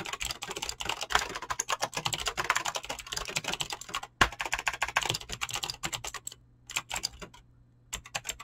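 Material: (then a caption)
Plastic. Fingertips fast-type on a mechanical keyboard with clicky green switches and PBT plastic keycaps, producing a dense, rapid stream of sharp, bright clicks. One louder clack stands out near the middle, and the typing thins into a few scattered bursts with short pauses toward the end.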